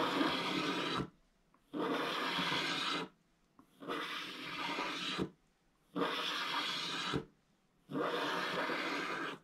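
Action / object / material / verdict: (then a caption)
scrape / scratch-art paper with wax coating, wooden stylus / waxed paper / none. A thin wooden stylus held in the fingers scratches the black wax coating off a flat scratch-art page in a book, exposing the orange paper beneath and leaving curled black shavings. Five long, steady, rasping strokes are heard, each about a second or more, bright and hissy with a papery grain, separated by short silent pauses.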